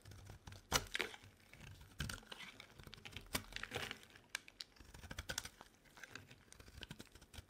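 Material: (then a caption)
Soap. A solid lilac bar soap held in the hand is shaved with a metal utility knife blade, giving a rapid series of short, dry, crisp scrapes and crackles. The sound is bright with little low end, and each stroke stops almost at once. Peelings flake off as the blade pulls through the soap.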